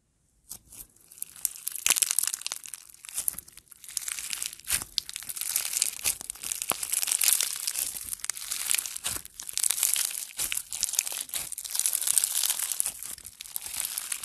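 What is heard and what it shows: A handheld ball of solid, soft blue slime packed with small foam beads is pressed, squeezed and stretched by fingertips and a thumb. It gives dense, bright crunching and crackling in rapid bursts throughout, with almost no low end.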